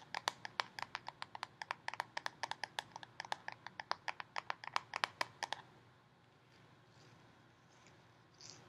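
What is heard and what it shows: Long painted fingernails rapidly tap and scratch the red plastic screw lid of a full Jif peanut butter jar held in one hand, giving about forty sharp, dry clicks with a bright tick around 1 kHz over the first five and a half seconds. The taps stop, leaving a quiet, faint hiss and a soft bright rustle at the very end.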